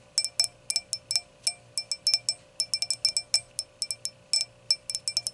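Long acrylic nails tap and scratch around the stem joint on the round clear glass foot of an empty stemmed hurricane glass. About 28 quick, bright, high-pitched clinks come in uneven bursts, each dying away almost at once over a faint steady hum.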